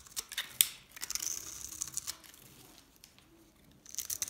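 A hand-held Dalan & Duru painted dry soap bar, solid and dried with a pink rim and a green face, has its surface scraped and crumbled so flakes fall off. Quiet, dry, bright scratching and crumbling crackles come in short bursts, with a crisp snap early on and a calmer stretch before a final flurry of crumbling.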